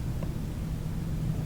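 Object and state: Nothing is struck.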